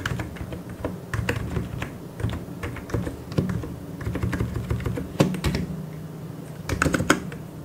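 Fingertips, mostly of the left hand, tap the plastic keycaps of a full-size white mechanical keyboard. The result is a steady run of quick, dry clacks with a deep, thocky body and short sharp peaks. A few louder, brighter key strikes stand out from the continuous typing.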